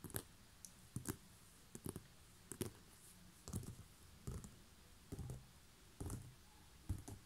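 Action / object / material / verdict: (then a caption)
tap / woven seagrass basket / straw / none. Long nails tap and scratch along the woven coils on the side of a large, hollow, coiled woven straw (seagrass) basket. Short, dry taps with a soft low thump and a crisp, bright scratchy rustle come in irregular pairs and clusters about once a second, dying away almost instantly. A quiet, steady background sits between them.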